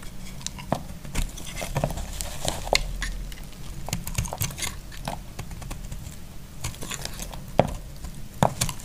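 A solid, dry purple bar of soap is held in the hand and shaved along its edge with a utility knife. Dry, crisp scraping and crackling flicks come in an irregular stream, with a few sharper snaps standing out over a low, steady rumble.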